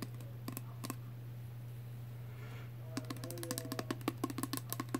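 A small pink plastic Body Fantasies body spray bottle, partly full of liquid and with a clear cap, is held up and tapped with fingernails. A few sparse, crisp clicks give way after about three seconds to a quick run of light tapping with a faint hollow ring. A steady low hum sits underneath throughout.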